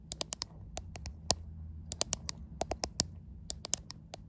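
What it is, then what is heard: Glass-backed smartphone being tapped. Long white acrylic nails tap and scratch the glass back panel and camera bump of a white iPhone, the same phone doing the recording, as it is filmed in a mirror. About 21 short, sharp, bright clicks land at an uneven slow pace, each dying away almost instantly, over a faint steady low hum.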